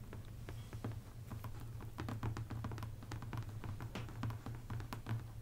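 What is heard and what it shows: Both hands tap and drum with long painted nails and fingertips on the glossy card cover of a large paperback adult coloring book, "Rêves, 100 coloriages," a solid stack of paper lying flat on a table. A quick, steady patter of soft, dull thumps carries a low hum, with crisp nail clicks flicking through it.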